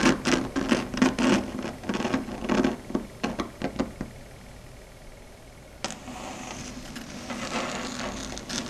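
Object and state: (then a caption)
Chalkboard tapped with long nails. Long red stiletto nail tips tap rapidly on a flat, solid, dark grey chalkboard surface, giving a quick run of short, dry clicks with a warm low body and bright edges for about four seconds. The tapping stops into a near-quiet hush, then a sharp onset at about six seconds leads into a steady, scratchy, high-edged rubbing sound that lasts to the end.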